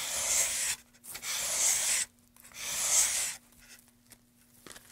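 A solid, light pine wood moulding board held in gloved hands has its surface and edge rubbed with sandpaper. Three separate, bright, hissing sanding strokes sweep back and forth, each about a second long with short pauses between. Quieter faint scrapes and a low, steady hum follow.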